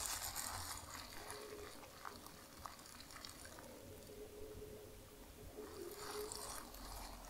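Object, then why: Soft plastic bag. A large, soft, white plastic bag is balled up in the hands while fingers with long nails squeeze and crumple it. Bright crinkling and rustling swell at the start and again near the end, with softer scattered crackles in between over a faint steady low hum.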